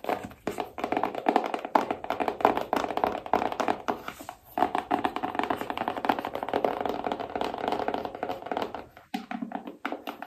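A small rigid cardboard iPhone box, held upright, is tapped with long painted nails on its printed front and side. Rapid, dry, clicky taps come in steady bursts, each hit short and hollow with a bright midrange tone, little low end and almost no ring.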